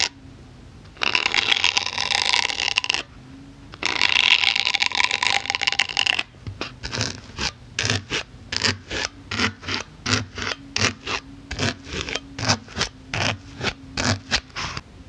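A pink-handled needle tool scratches across a solid white polyethylene foam block in two long, bright, hissing passes. It then pokes the foam in a rapid series of short, dry, crackling taps that stop instantly with no ring.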